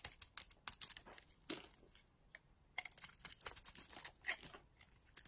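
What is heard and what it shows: A solid red and purple oval bar of soap held in the hand has chips cut and scraped off it with a metal blade. Quick, dry, crisp scrapes and crackles come in clusters, with a short pause in the middle. The sound is thin and bright, with almost no low end.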